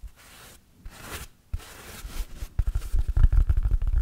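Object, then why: Synthetic foam sponge. Fingertips and short nails scratch and squeeze the pitted surface of a large, oval, yellow, porous hard synthetic foam sponge, which is stiff, solid and dry and held in both hands close by. Soft, airy, scratchy swishes come in short bursts with pauses. After about two and a half seconds they give way to louder, denser, rapid low bumps and crackly scraping that continue to the end.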